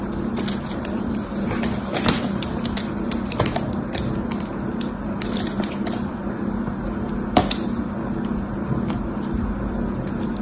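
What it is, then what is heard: Dried clay block being scraped and cracked. A palm-sized block of solid red dried clay, held in one hand, is carved and scraped by the other hand, which has long red nails, using a dark craft-knife blade that cracks off flakes. A steady gritty scraping hiss runs throughout, broken by many sharp, bright cracks and clicks that die away almost instantly, over a constant low hum.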